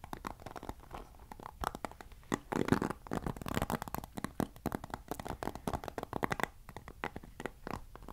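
Fingertips scratch and strum the bristles of a black plastic paddle hairbrush with white-tipped bristles. The result is a quiet, dense run of short, dry clicks and scratchy ticks, with a louder, fuller rustling burst near the middle. The sound sits mostly in the low and middle range, with little brightness.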